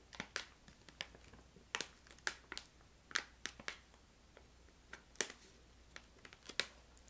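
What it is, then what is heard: Plastic candy pouch tapped and scratched. A medium printed plastic stand-up pouch of crystallized ginger candy, with the candy inside, is held close and scratched and tapped with long light-blue nails. About 17 short, bright, crinkly clicks and scrapes snap out separately over a quiet, steady low hum, each dying away almost instantly.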